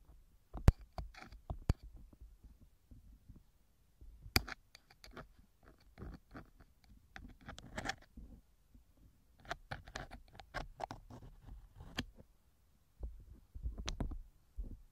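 A thin metal ear pick scratches inside the left silicone ear cover of a TASCAM microphone in light, sparse strokes. The result is quiet, dry scraping and rustling with a low, muffled rumble underneath. A few sharp, bright clicks stand out over the 15 seconds.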